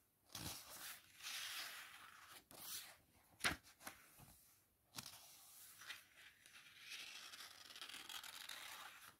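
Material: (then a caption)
Paper. Fingertips with long painted nails rub and turn the thin cream paper pages of an open paperback book held in both hands over a fuzzy blanket. Bright, airy rustles and soft swishes come in uneven bursts, with one sharper crisp snap of paper partway through. Quiet pauses fall between the page movements.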